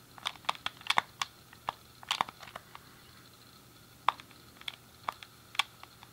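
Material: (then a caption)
Plastic. A thumb clicks the D-pad and fingertips press the face buttons on a hand-sized, hollow grey plastic SNES game controller. It makes a quick run of sharp, dry, bright plastic clicks, some in tight bursts, with a pause in the middle before they pick up again. Each click stops almost instantly with no ring, over a faint steady hum.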